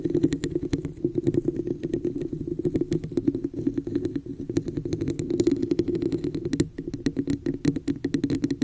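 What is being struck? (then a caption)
Textured plastic cup. Long nails rapidly tap and scratch the scaled surface of a hollow red textured plastic cup placed over a microphone. The result is a dense run of short, dry clicks with bright edges over a steady hollow resonance near 280 Hz, with scratchy rasps between the taps.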